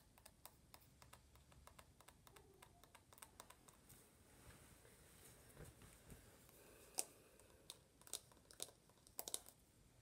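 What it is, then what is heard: Aluminum smartphone back. Long nails tap rapidly on the rose-gold aluminum back of an uncased iPhone. The quiet, sharp, bright clicks die away almost instantly, and a few louder taps stand out toward the end.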